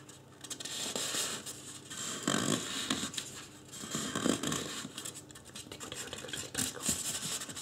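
Fingertips scratch and rub the sides and top of a life-size white polystyrene foam mannequin head. The result is a dense, irregular stream of bright, dry scratching and squeaky rubbing that swells and fades in uneven bursts, with short low thumps under the friction.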